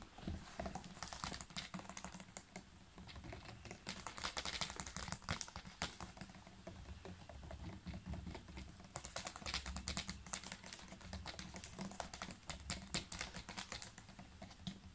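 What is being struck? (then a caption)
Ridged plastic water bottle. Fingernails tap rapidly on the ridged sides of a large, clear PET water bottle that is full of water and has a blue cap and a paper label. The result is a dense run of quick, crisp clicking taps with bright high edges over a low hum, steady throughout like fast keyboard typing.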